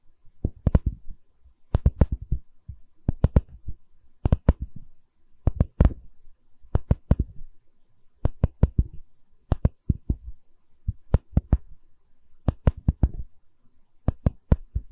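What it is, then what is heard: Wooden tree slice coaster tapped with nails. A solid wooden tree-slice coaster with bark, held on edge, has its bark rim tapped and scratched with long red nails. The result is a steady rhythm of short bursts of quick, dull, low knocks, each dying away almost at once, with faint soft scratching between them.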